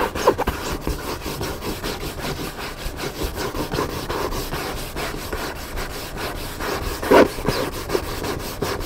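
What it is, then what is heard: Hardcover book cover scratched with nails. Fingertips and nails scratch back and forth across the paper cover of a large black hardcover book lying flat and solid. The result is a steady, dry, rhythmic rubbing and scraping, mostly in the midrange, with one brief louder scratch near the end.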